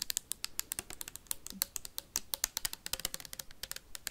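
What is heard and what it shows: A clear plastic sanitizer bottle with a white cap, held sideways near the mic, is tapped quickly with metal paperclips. About thirty sharp, bright clicks sound in an uneven, rapid run over four seconds. Each click is dry and dies away almost at once, with little low-end body.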